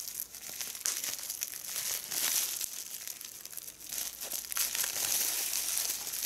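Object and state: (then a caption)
Plastic bubble wrap being popped. Fingertips and long red-painted nails squeeze a small piece of clear plastic bubble wrap held in both hands, popping its air bubbles while a larger bubble wrap sheet lies still on the table. The sound is a dense, irregular stream of bright, crinkly crackles and sharp little pops with almost no low end.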